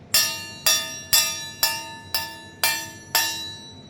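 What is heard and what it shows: A metal object is struck again and again, seven sharp strikes about twice per second, each giving a bright, bell-like ring with high harmonics that fades quickly before the next hit. The ringing tone stands in contrast to the dull sound of a plastic, non-metal object.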